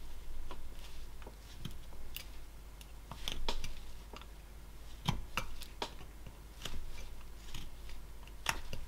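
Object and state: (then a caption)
Basswood carving block being whittled. A knife whittles a small solid basswood figure held in a gloved hand, taking short cuts that scrape the wood. The result is a steady series of sharp, dry scraping clicks and snips, each ending quickly, over a low background hum.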